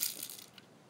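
An airsoft gun loaded with plastic BBs is shaken, making a brief, bright rattle of the BBs knocking around inside. It starts loud and crisp, fades over under a second, and ends with one small late click.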